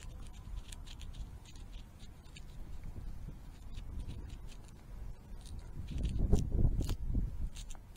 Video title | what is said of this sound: Honda ATC 200 (Ducky) Frame and rear end repair. | it looked okay but if you listen it is definitely crunchy